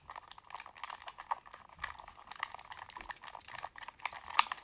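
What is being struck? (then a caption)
Hollow plastic game controller. A black Sony PS3 plastic gamepad, hand-sized and hollow, is held in both hands while fingertips and thumbs press and click its buttons and sticks. A steady, quiet run of short, dry plastic clicks and taps follows, with a hollow tone near 930 Hz and a bright edge. One sharper, louder click stands out near the end.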